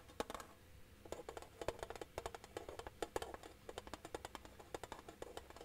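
A flat, rectangular, hollow silver metal tin is held upright and tapped along its edge with fingertips and nails. The result is a quick, irregular series of dry, clicky taps with a faint hollow tone near 480 Hz. Each tap stops almost at once, with no lingering ring.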